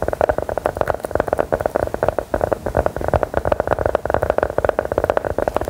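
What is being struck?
Round embossed biscuit tapped with metal nail claws.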